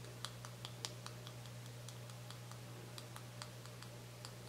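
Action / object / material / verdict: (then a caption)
tap / small plastic cosmetic tube / plastic / none. Fingernails tap rapidly on a small, full white plastic cosmetic cream tube held up in the air, making a loose, irregular string of short, bright clicks. Each tap is crisp and dies away quickly over a faint, steady low hum.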